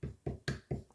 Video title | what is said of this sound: 107 - bezel setting a cabochon in a simple ring | you're going to tap it if you hear a second click